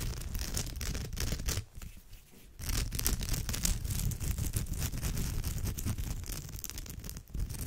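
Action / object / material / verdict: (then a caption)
scrape / woven straw bag / straw / none. Long nails scratch a woven straw bag's surface with both hands, making a dense, fast, uneven rasping with a heavy low rumble and bright crackly edges. The scratching drops to a quieter, sparser patch for about a second partway through, then resumes at full strength until the end.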